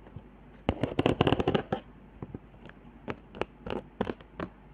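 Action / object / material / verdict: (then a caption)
scrape / cardboard board with hot-glue ridges / cardboard, glue / none. Long nails scratch along the hot-glue lines and dots on a flat cardboard trigger board, ending near the glue spiral. Quick, dry, irregular scratches and clicks come in a dense burst early on, then continue as sparser scrapes, each stopping short with no ring.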